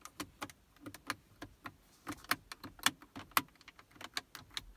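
Long acrylic nails and fingertips tap and press the small plastic push buttons (radio presets, temperature, A/C) on the hard plastic faceplate of a Toyota Prius dashboard center console. About nineteen sharp, dry clicks and taps come in an uneven, quick rhythm, each dying away almost instantly.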